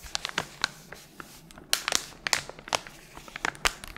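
A small, flat pink guitar-string packet with a thin paper or foil sleeve is crinkled and squeezed by gloved fingers with long nails while being moved around the head. Sharp, bright crackles and crinkles come in irregular bursts over a quiet background. Each snap stops almost at once, with very little low end.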